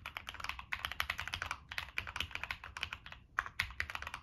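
Fingertips type continuously on a Monsgeek M1 mechanical keyboard with a black aluminum case, plastic keycaps and NK Cream switches. The keystrokes are rapid, bright, clacky taps that die away almost instantly, with little low end and a brief pause just past the three-second mark before typing resumes.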